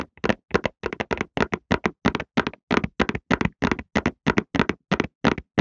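A medium-size Softlan cardboard tissue box, hollow and full of tissues, is held horizontally in both hands and rapidly tapped on its sides with fingertips and short nails. The result is a quick run of short, dry, hollow taps, often in pairs, with almost no ring after each hit.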